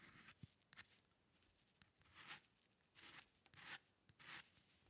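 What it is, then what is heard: Pen nib scratching paper. A metal dip pen nib scratches short ink strokes across a white sheet of drawing paper resting on a dark surface, with the hand staying on the same sheet throughout. The clip is a quiet series of dry, bright, hissing scratches in uneven bursts, some longer strokes swelling and fading and others quick sharp ticks, over a soft background rustle.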